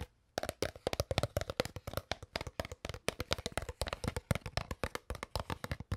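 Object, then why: Crumpled plastic water bottle. An empty, crumpled, hollow clear PET plastic water bottle is tapped and squeezed with long nails and fingertips. After a brief silence, about 38 quick, dry, crackling taps follow in a steady, rapid run, each short and snappy with little ring.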